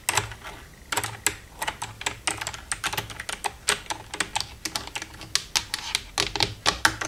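Long red-painted nails tap and type across the keys of a black plastic desktop computer keyboard with a hollow casing, using both hands. A quick, irregular stream of sharp, bright plastic clicks and clacks rings briefly, with little low end and faint hollow rattles between strokes.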